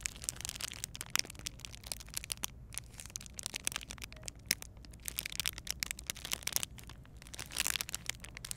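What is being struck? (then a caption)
Clear plastic bag packaging around a gel bead eye mask. Long painted nails press, rub and crinkle a clear plastic bag holding a gel bead eye mask, and the beads inside may shift. Dense, bright crinkling and crackling runs throughout, with many quick, sharp clicks over a faint low rumble and a louder burst of rustling near the end.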